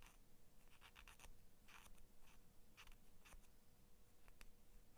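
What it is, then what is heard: Steel scissor blade. Long nails scratch along the flat steel blade of small kids' scissors held by their plastic handles. The result is quiet, short, bright scraping bursts over a steady low hum.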